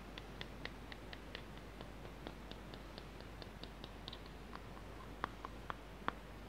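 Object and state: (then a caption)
Plastic tub tapped with fingernails. Fingertips and short nails tap around the sides and lid of a small, hollow, lidded blue plastic tub held in both hands. The quick, irregular taps are soft and dry at first, with a few louder, sharper clicks near the end carrying a brief hollow tone around 1 kHz. Each tap dies away almost instantly over a low, steady background hum.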